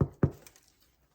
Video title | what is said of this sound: [VIRTUAL] Lunch and Learn: How to Make Bread | if you tilt your bread up and give it a knock on the bottom, it should sound hollow